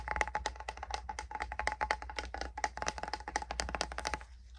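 A small metal hand salve tin is tapped rapidly, producing a dense run of short, bright clicks with a faint metallic ring around 850 Hz over a low steady hum. The tapping stops just before the end, leaving a brief quiet tail.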